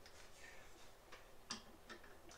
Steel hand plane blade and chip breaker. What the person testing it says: tap it to make sure it sounds like it's sitting flat